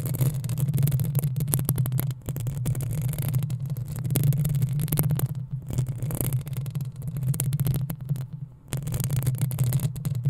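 Long acrylic nails of both hands scratch the hollow metal mesh head of a black desktop USB microphone. The result is a dense, continuous scraping with a heavy low boom and bright crackly edges. The scratching breaks off briefly a few times before resuming.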